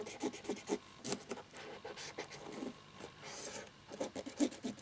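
A cotton swab scrubs the exposed translucent plastic key mechanisms of a plastic laptop keyboard without keycaps, set in its plastic frame. It makes quick, dry rubbing and scratching strokes, with short bright scrapes over a soft low-mid rasp.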